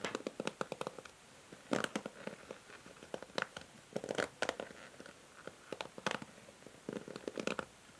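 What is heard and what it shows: Long nails strum and scratch the white plastic bristles of a pink plastic paddle hair brush. The result is quiet clusters of quick, dry, clicky scratches with bright edges, separated by short pauses.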